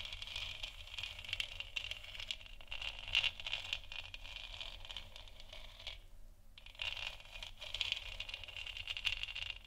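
Long nails scratch the sides and top of a large, hollow, 3D-printed plastic moon lamp sphere lit white. The result is a continuous, bright, rattly scraping centered around 2.8 kHz over a faint low hum, with a brief pause near the six-second mark before the scratching resumes.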